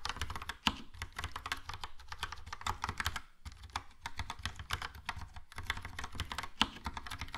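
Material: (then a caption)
Plastic. Fingertips type steadily on a Logitech POP Keys plastic mechanical keyboard with a yellow plastic case and round plastic keycaps. Rapid, bright, clacky keystrokes with a low thock underneath run in quick bursts with short pauses, and two sharper, louder clacks stand out near the start and end.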